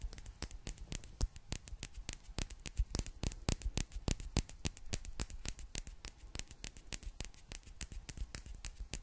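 A small clear glass bottle with a gold metal cap is held close and tapped with long black nails. The result is a rapid, irregular stream of short, sharp clicks with a bright edge and almost no ring, at a quiet level throughout.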